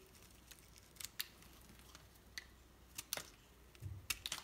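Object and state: Bar soap cut with a knife.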